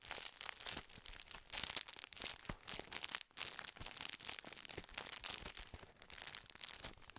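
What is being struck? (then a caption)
Metallized plastic biscuit wrapper. Fingertips crinkle and scratch a full, gold foil-lined plastic biscuit tube, a metallized plastic wrapper. The result is a dense, continuous stream of bright, crisp crackles and rustles with very little low end, each tiny snap dying away almost instantly.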